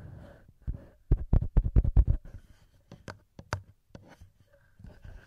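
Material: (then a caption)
Metal. Fingertips rub and tap directly on the two small cylindrical metal microphone capsules of a handheld recorder, producing close, deep thumps and soft scratchy rubbing. A quick run of sharp taps in the middle of the clip gives way to sparser taps and gentle rubbing toward the end.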